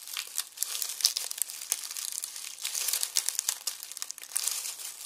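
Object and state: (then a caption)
Dry onion skins crumpled in a mesh bag. Fingers crumple and tear dry onion skins inside a red plastic mesh bag resting on a wooden board. The result is a continuous, bright, dry crinkling and crackling with many sharp, quick snaps and almost no low end.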